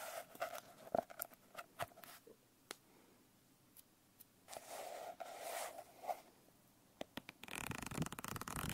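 Long nails scratch and tap on a blue glitter-covered notebook. Sharp, brief clicks and dry scratching strokes come in irregular bursts with quiet gaps between them. Near the end, a quick, dense run of taps along the page edges gives a fluttering rasp.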